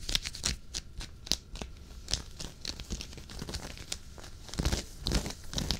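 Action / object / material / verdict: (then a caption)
scrape / knit fabric sweater / knit fabric / none. Fingernails scratch close up on the knit fabric of a dark waffle-knit sweater worn on the chest. It makes a run of quick, bright, scratchy rasps with a low rumble underneath. The louder strokes crackle like crinkling.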